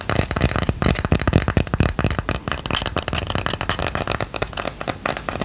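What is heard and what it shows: Tapping and scratching on a ceramic coaster produce a rapid run of short, dry clicks and scrapes with a glassy clink and bright, hissy edges. Scratching at some angles gives a screeching sound.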